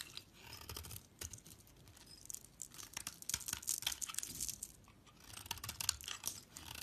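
A hand-sized, solid brown translucent bar of soap, held between fingers with long white nails, is scraped and shaved with a metal utility knife blade, peeling off brown curls. The sound is a run of dry, bright, crackly scraping strokes at an uneven pace, with thin high shaving hiss and little low end.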